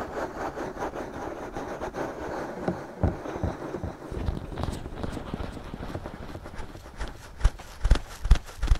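Fingertips scratch steadily across the soft silicone ears of a binaural microphone, making a dense, muffled, low rustle. Near the end the scratching gives way to a few sharp, thumping taps on the ears.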